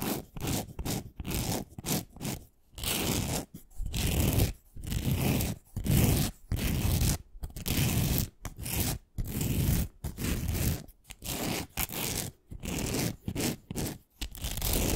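Long nails scratch along the surface of a long, thin, solid pink glitter-coated wooden pencil. Quick, uneven bursts of gritty scraping come one after another with short silent gaps between them. The scratches sound rough and full, with a strong low rumble under a hissy top.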